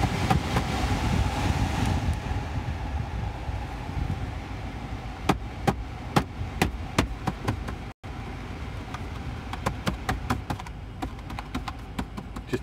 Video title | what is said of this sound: Corsa D 2008 Heater Motor Fan intermittent - diagnosis and repair. | tapping around the motor varies the speed of it.